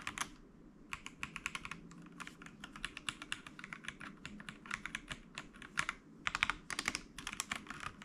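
Fingertips from both hands type on a full-size mechanical keyboard with white and grey plastic keycaps resting on a wooden desk. Rapid, bright, dry clicks come in bursts of keystrokes over a low background hum.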